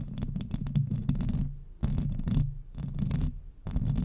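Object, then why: Metal mesh microphone grille. Long acrylic nails on both hands scratch fast across the hollow metal mesh grille of a silver microphone. The sound is a deep, boomy rumble with a rough scratchy texture, coming in four bursts separated by brief quieter gaps.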